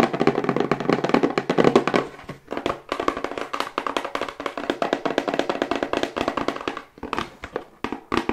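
A hollow, medium-sized plain brown cardboard box is held and tilted in the hands and tapped quickly with long white acrylic nails. The result is a fast, continuous stream of short, dry, hollow taps with a midrange tone, briefly pausing around 2.5 and 7 seconds.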